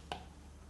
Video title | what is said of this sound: 2025 Best iPad for Art: Pros and cons for each model | when you tap on the display, the tapping sound is hollow